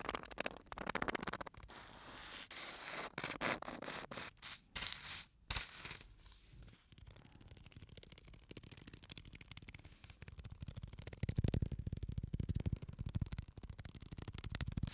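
A small clear bottle full of white sand, with an aluminium cap, is held in the hands, tilted sideways and turned so the sand slides inside. Grainy, bright hissing and scratchy rustles come in bursts early on, then settle into a softer, lower rushing with deeper swells near the end.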